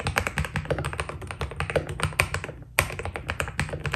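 Fingertips of both hands type quickly on a white Keydous NJ80 mechanical keyboard with PBT plastic keycaps, a steel plate and foam inside. The result is a dense stream of short, crisp clacks with a thocky low body and bright tops. The typing pauses briefly just before the three-second mark, then resumes at the same pace.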